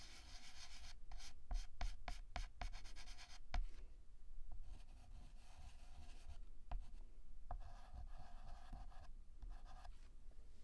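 A hand draws with a stick of pink chalk on a flat black chalkboard that already has a flower drawing on it, rubbing and scratching the tip across the surface in short strokes and dots. Bursts of dry, bright scratching alternate with sharp little taps and brief pauses over a steady low rumble.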